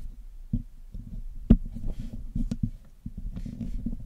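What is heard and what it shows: A thin metal needle pick scratches along the wires of the black metal mesh grille on a hollow Blue Yeti microphone head, which is steadied by a thumb while tweezers are held idle in the other hand. The result is a dull, low-heavy run of short scrapes and ticks with brief, faint high hiss, and one sharper click stands out in the middle.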